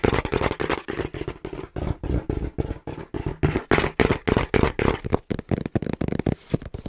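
Fingertips tap rapidly on the front panel of a small, brown, hollow cardboard box held in both hands. About 38 quick, dull, low-pitched taps come in a loose, uneven rhythm of roughly three to four per second. Each tap is a short, papery thump that dies away almost at once.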